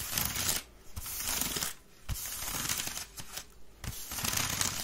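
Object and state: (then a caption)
Wicker basket bin scratched. Long red nails scratch quickly along the rim and weave of a grey woven wicker waste bin, which lies tilted on its side, hollow and empty. The sound is a bright, dry, crackly rasp with low hollow thumps underneath, coming in dense bursts separated by a few brief quieter pauses.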